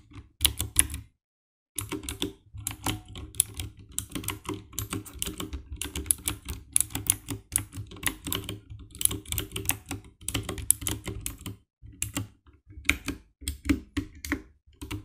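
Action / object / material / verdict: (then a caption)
tap / plastic mechanical keyboard / plastic / none. Fingertips type steadily on the keycaps of a compact 60% black plastic mechanical keyboard with RGB backlight. The result is a fast run of short, sharp clicky key presses with a low thock underneath and a bright top. The typing pauses briefly just after the first second, then continues in quick bursts.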